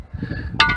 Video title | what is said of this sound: Making biochar with brick cookstove - high temperature / low oxygen burn | it almost sounds like glass